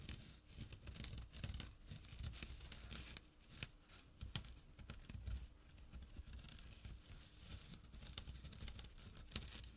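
Short nails briskly scratch the weave of a small, empty jute/burlap drawstring pouch resting on dark cloth. The result is a continuous dry, rough rasping with a low rumbling body and bright, crackly scrapes. Sharp, clicky peaks stand out at irregular moments.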